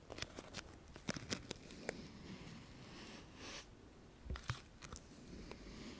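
A dry sola wood flower is held in both hands while fingernails scratch its thin petals. About ten quiet, sharp crackling clicks stand out over a soft, bright rustle, with a longer papery swish near the middle.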